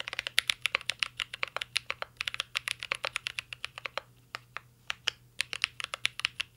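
Fingertips type steadily on a mint-green Cyberboard R3 mechanical keyboard with plastic keycaps and a metal case. The sharp, bright key taps come in quick runs, with a brief slowdown near the middle, and each click dies away almost instantly.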